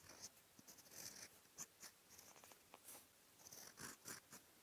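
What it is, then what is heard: Fountain pen writing on lined paper. A steel fountain pen nib, held in fingertips, writes dense handwriting strokes in brown ink across a flat sheet of white lined writing paper. The result is quiet, bright, dry scratching in short, quick bursts, with almost no low end and no ring after each stroke.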